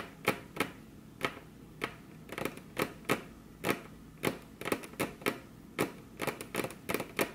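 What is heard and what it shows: Very long curved fingernails on crossed hands tap their tips against a flat, solid, glossy dark-brown wood-grain tabletop. The result is a series of sharp, bright, clicky taps that die away almost instantly, in an irregular rhythm with occasional quick flurries and quiet gaps between them.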